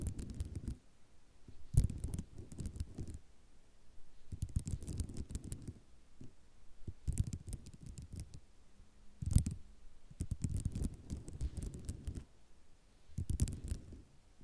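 Long nails scratch across a flat sheet of white ceramic mosaic tiles in repeated bursts of rapid, gritty clicking and scraping, separated by short quiet pauses. The sound is close, dry and mostly low in tone, with no ring after each stroke.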